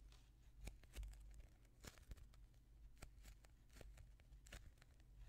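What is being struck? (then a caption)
Soft polyurethane foam donut squishy toy. A palm-sized, soft polyurethane foam squishy toy shaped like a chocolate-glazed donut, a solid foam ring, is squeezed and pressed with the fingertips and thumbs of both hands. Quiet, crinkly foam crackles and short bright ticks sound over a low, steady rumble, with a few slightly louder pops along the way.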